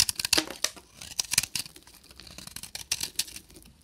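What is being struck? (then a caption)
Bar soap shaved with a knife. A solid beige bar of dry soap with a copper-painted crust is held in the hand and shaved with a short metal knife into chunky flakes. Each cut gives a bright, crisp, dry crackle and scrape with almost no low end and no ring. The bursts come in a quick, uneven series.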